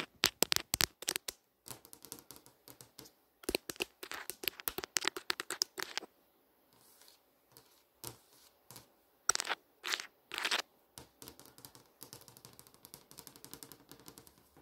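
Long acrylic nails and fingertips tap across the surface of a large, flat, solid glass touchscreen showing a streaming menu. Rapid bursts of dry, bright clicks and scratchy ticks come in clusters, with a quieter stretch of soft taps in the middle. Each tap dies away almost instantly with no ring.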